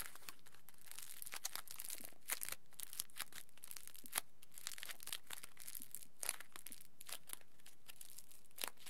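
Fingertips squeeze and crumple a small folded square of aluminium foil into a smaller packet. The result is a quiet, continuous bright crinkling and crackling with sharp clicks scattered throughout.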